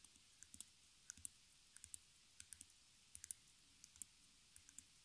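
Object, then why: Wooden stretcher frame wrapped in canvas with metal staples. Long fingernails tap and scratch the back of a small stretched canvas, where canvas fabric wraps wooden stretcher bars fixed with metal staples around a hollow center. About twenty quiet, sharp, bright clicks come in irregular bursts. Each one is very short and dry, with faint scratchy texture and little low end.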